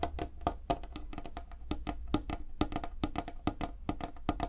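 Fingertips and nails tap fast across a light, solid wooden tabletop. The result is a rapid, uneven run of short, dry woody knocks with a hollow mid tone, brief clicky tops, and a soft low rumble underneath. Each tap dies away almost at once.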